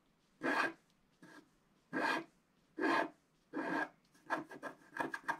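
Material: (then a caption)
Coated paper. A wooden stick scrapes larger areas of the black coating off a Christmas stocking design on a flat scratch-art paper sheet. Five longer rasping strokes are followed by a run of quicker, shorter scratches, each a dry, papery rasp with a bright midrange edge and no low end.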